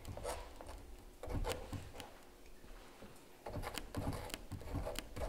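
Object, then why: Stretched canvas print scraped with a palette knife. A palette knife held in the fingers scrapes and scratches along the surface of a large stretched canvas giclee print lying flat. Short, dry, bright scraping strokes come in two busy clusters, separated by a quieter stretch, over a low, soft rumble.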